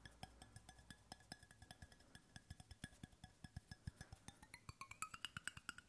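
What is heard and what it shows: Fingertips and nails tap the base and side wall of a hollow, brushed stainless steel water bottle held close to the mic. The result is a quick, uneven run of short, dry clicks and knocks with a light metallic tone around 1.5 kHz. Brighter, ringing pings emerge toward the end.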